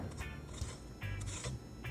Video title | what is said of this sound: Tastiest Crispy Skin Pork Belly In air Fryer | I'm scraping the knife over it. And you can hear how crispy it is.